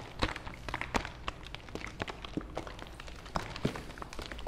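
A medium plastic fabric softener bottle held up in one hand is tapped on its hollow plastic sides by fingers. Many quick, dull, hollow taps come in an irregular pattern, some louder and brighter than others, each dying away fast over a low background hum.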